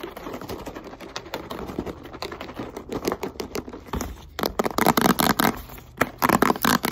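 A hand-sized, hollow blue and green plastic Microban multi-purpose cleaner bottle is held in the hands and tapped and scratched with long white acrylic nails. Quick, irregular clicky taps and scratchy rasps sound through, growing louder and denser in the second half.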